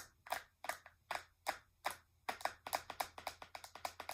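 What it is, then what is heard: Plastic makeup palette tapped with nails. Long nails tap along the surface and edges of a flat, hollow, translucent pink plastic eyeshadow palette case. About 20 short, dry, clicky taps sound with a mid-pitched knock, spaced evenly at first, then coming faster and closer together in the second half.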